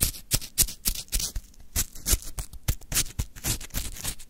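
A wooden stick digs and scrapes through a full plastic cup of crunchy lemon frozen shaved ice, up close. Quick, irregular crunches and scratches follow one another, each a short bright burst with a soft low thump beneath it.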